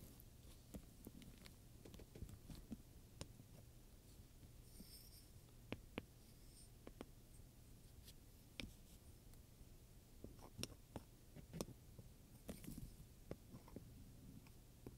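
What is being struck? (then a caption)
Leather handbag with metal studs. A wooden pointer held in the hand taps and scrapes over the rows of metal dome studs on a medium black leather purse. Around twenty sharp, quick ticks and clicks with bright edges stand out over soft scraping and a steady low hum. The clicks die away almost at once, leaving a quiet, close sound throughout.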